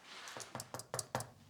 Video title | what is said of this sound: What To Look For When Buying A Flip/BRRR - Kevin Wood - Building Dreams - HBD Group | It sounds solid.